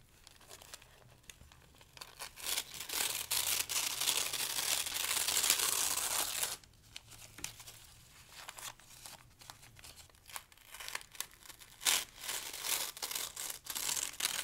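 Thin pale-green paper sheets are pinched, crumpled and torn into strips with the fingertips of both hands, producing bright, dry crackling and ripping with almost no low end. A long, loud tearing rush builds through the middle of the clip, then drops to softer crinkling before sharper crumpling bursts return toward the end.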